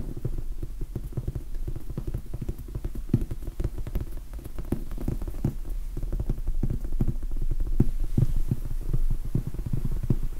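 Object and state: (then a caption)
Foam sponge die. Fingertips tap and scratch on the surface of a large, soft, solid red foam sponge die. The result is a dense, irregular run of soft, muffled thuds with almost no ring, low and dull with a faint scratchy hiss above.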